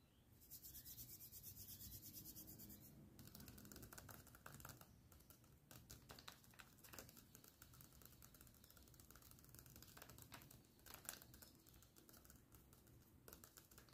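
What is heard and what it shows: Fingertips and short nails tap and rub in a massage-like motion across a flat, hand-colored paper drawing of a face, a thin, solid sheet that appears taped or laminated and lies on a table. A bright, hissy rustle fills the first few seconds, then gives way to quiet, rapid ticking and crackly scratching. Occasional sharper taps stand out from the steady, low-level patter.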